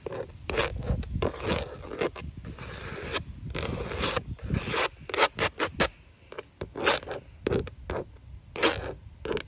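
Long orange and yellow acrylic nails tap and scratch along grey wood-grain textured vinyl siding panels on an outside wall, made of thin, hollow-backed plastic. Dry scraping rubs alternate with quick, sharp, hollow taps that stop dead, with bright clicking edges over a low body.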